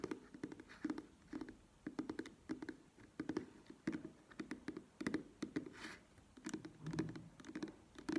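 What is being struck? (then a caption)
Soft plastic squeeze tube. A soft plastic cosmetic cream squeeze tube stands on its cap, held in both hands, while long nails tap its sides. The result is a quiet, uneven run of quick, dull, hollow taps centred around 320 Hz, each dying away almost at once, with some clustered flurries.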